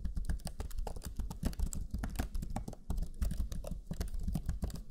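Fingertips of both hands type rapidly on the black chiclet keyboard of a Lenovo Legion 5 laptop, pressing its low-profile plastic keys. A fast, steady stream of short key taps is heard, each with a soft low thud and a bright click on top. Every tap dies away almost at once.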